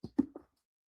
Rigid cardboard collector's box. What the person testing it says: I like to be able to knock on my boxes, and they don't cave in.